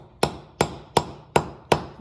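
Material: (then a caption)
Wood. A wooden dowel rod is hammered into a hole drilled in a concrete floor, with six evenly spaced, sharp, solid thuds that each fade quickly. The dowel has reached the full depth of the hole, so the strikes sound solid rather than hollow, like a 2x4 beaten against the floor.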